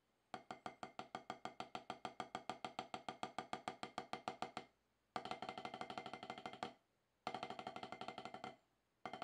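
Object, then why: Rubber drum practice pad struck with wooden sticks. Two wooden drumsticks strike the dark, solid rubber surface of an octagonal HQ snare practice pad resting on a lap. They produce a steady run of distinct, dry taps for about four and a half seconds, followed by two faster, denser rolls separated by short pauses, with another burst starting at the end. Each stroke is a short, woody click centered around 750 Hz with a bright edge and almost no ring or low end.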